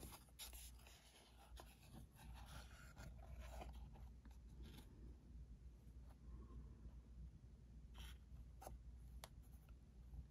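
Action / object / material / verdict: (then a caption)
scrape / small printed cardboard box / cardboard / none. A small printed cardboard ink cartridge box is held close in both hands while fingertips and nails tap and scratch its faces. Soft, dry scratching and light taps play over a steady low hum, with occasional sharp, bright clicks standing out. The whole clip stays quiet.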